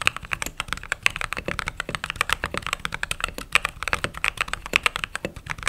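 Fingertips and long nails type quickly and steadily on a white and cream mechanical keyboard with plastic keycaps. Each keystroke is a short, dry, bright clack with a sharp tick near 2.6 kHz, no ring and almost no low end.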